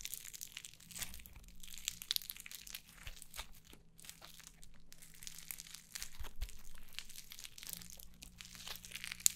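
A fist-sized yellow crunchy foam slime is held in both hands, squeezed and poked with long nails. It gives off quiet, continuous crackling and crunching with bright, high crinkles and sharp little pops over a steady low hum.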